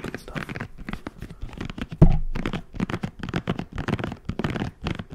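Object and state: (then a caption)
Silicone scalp massager brush. A hand-sized red silicone scalp massager brush with soft, spiky bristles is scratched and rubbed with fingertips. It makes fast, dense bursts of dry scratching and crinkling with a low, muffled body. A louder thump near the two-second mark fades out over a short tail.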